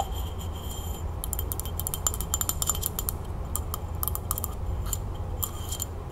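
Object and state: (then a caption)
Frosted glass candle holder. Long nails quickly tap and scratch a hollow frosted glass candle holder with red wax inside, held in the hand, catching both the glass body and its rim. The clicks are sharp, bright and short, with a high ringing tone, over a steady low rumble.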